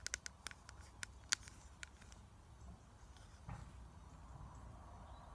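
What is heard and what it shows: Long acrylic nails tap on a flat, clear, hard plastic eyeshadow palette held in hand, with its lid closed and pressed powder pans inside. About eight sharp, bright, clicky taps come in an irregular burst over the first two seconds, each dying away almost at once. After a pause, a quiet scuffing rustle starts around the midpoint and fades out under a low background hum.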